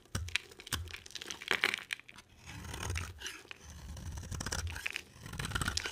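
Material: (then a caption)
Soap. A box cutter blade carves into a solid, palm-sized white oval bar of soap. Dry, crunchy scraping and crackling shavings come in uneven bursts, with brief sharp clicks and a low rumble beneath the longer cuts.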